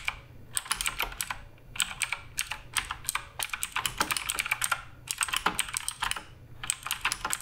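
Fingertips type continuously on the plastic keycaps of a black RGB Redragon K588 Broadsword mechanical keyboard. The result is a steady stream of quick, bright, sharp key clicks in uneven bursts, with short pauses between runs.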